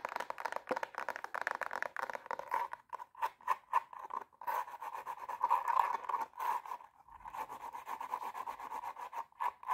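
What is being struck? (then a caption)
Glitter fabric high heel shoe. Long nails rapidly scratch the silver glitter upper of a hollow, empty pump with a black sole and heel, and tap on the sole. The result is a fast, dense run of dry, rasping scratches centered around 1 kHz, broken by quick, sharp taps with almost no ring.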